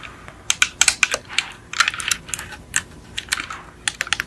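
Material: Metal.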